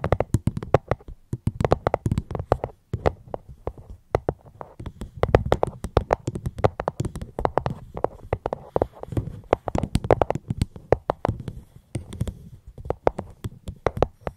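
A fruit box held close to the microphone is tapped gently with quick, irregular strokes. Each tap is a short, dry knock with a low, hollow thump and brief bright clicks that die away almost at once, in a steady stream of soft tapping.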